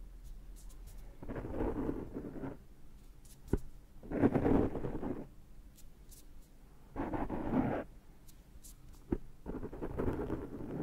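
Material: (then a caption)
Foam. Fingertips and short nails scratch and pinch at the surface of a large, rounded, dark foam microphone windscreen. Four bursts of close, muffled scratching and rustling, low and mid-toned, are broken by quieter pauses and a couple of sharp clicks.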